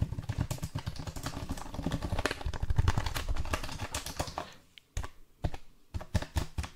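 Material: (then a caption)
Plastic. Fingertips tap and press the keys of a black plastic backlit computer keyboard held close to the microphone. A dense, steady run of quick, dull, low clicks gradually fades, then gives way to a few separate, sharper taps with short pauses between them.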